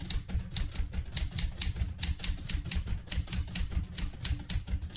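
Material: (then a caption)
Metal. Fingertips with red-painted nails type continuously on the round keys of a vintage light blue portable manual typewriter with a metal body. A quick, uneven run of crisp key strikes follows, each with a bright clack over a low, thumpy body, and the strikes die away almost instantly.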